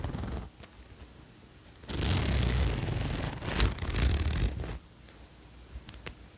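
Fingers pull the metal zipper along a green cotton zip-up hoodie lying flat and handle its collar fabric. A brief soft rustle leads into a loud, rasping zipper run with a low rumbling texture and bright ticking teeth for nearly three seconds, then it drops back to quiet fabric rustling with a few light clicks.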